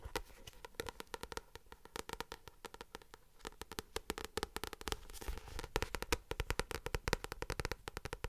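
Long acrylic nails tap and scratch the glossy printed card cover of the paperback novel "Nos étoiles contraires," held up close to the mic. A rapid stream of crisp, dry clicks with almost no ring is layered over a soft scratchy rustle, with a brief burst of scratching just past the middle. The tapping grows louder and busier toward the end.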